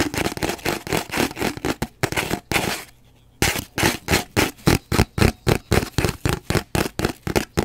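Fingernails scratch and tap on an empty, hollow cardboard paper towel roll held horizontally in front of the mic. There are quick, uneven bursts of dry, papery scratching and hollow tapping with a low, boomy body. A brief silence falls near the middle, then steadier rhythmic taps follow until the end.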